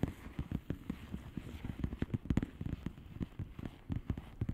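Long polished nails tap rapidly on the bubbles of a flat, hollow plastic bubble-wrap mailer lying on a surface. About twenty short, dull, low taps follow one another with no ring, over a soft crackly background.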